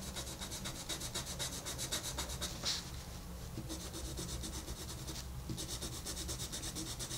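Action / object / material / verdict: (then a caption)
scrape / wooden colored pencil on a paper coloring book page / paper / none. A wooden colored pencil rubs back and forth across a flat paper coloring book page while shading. The strokes are quick, steady and bright and scratchy, with a brief lull just before the midpoint before the rubbing resumes. A low steady rumble runs underneath.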